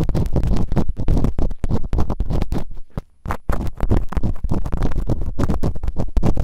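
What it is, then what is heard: Silicone ear microphone being scratched. Bamboo earpicks, held in fingertips with long nails, scratch and rub inside the open canals of both soft, solid, rubbery silicone ear models on a white binaural microphone. The result is a dense run of rapid, muffled scratching and rubbing with a deep, boomy low rumble and little brightness. It pauses briefly around the three-second mark before resuming.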